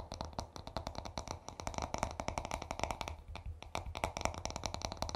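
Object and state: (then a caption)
Wooden hairbrush. Short fingernails of both hands scratch and tap the smooth wooden back of a paddle hairbrush in a rapid, uneven stream of dry clicks. Each tap is crisp and dies away almost at once, and soft scraping rasps fill the gaps beneath a low, woody thump.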